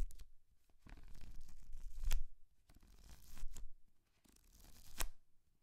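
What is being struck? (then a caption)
Paperback book, paper pages. Painted nails riffle and scratch through the paper pages of a thick paperback book held open in one hand. Soft, papery rustling rises and falls in three swells, with crisp page snaps standing out near the peaks. The overall level stays quiet and close.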